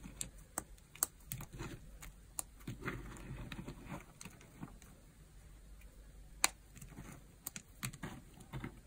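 Fingertips and long nails press, rake and rub through a loose pile of dry, crumbled bar-soap flakes and chips in pink, orange and yellow, spread on a white surface, while a knife lies unused nearby. The small solid pieces make quiet, crunchy crumbling and rustling sounds, punctuated by sharp, bright little clicks that die away almost instantly.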